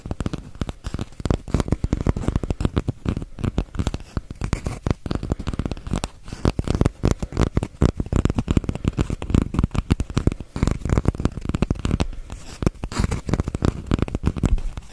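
A single hollow brown cardboard tube, about the size of a paper-towel roll, is held horizontally behind a microphone and tapped and scratched with fingertips and nails. Rapid, closely packed taps and scratches continue for the whole clip. They give dull, hollow, low thuds around 78 Hz with very little bright content and almost no ring after each hit.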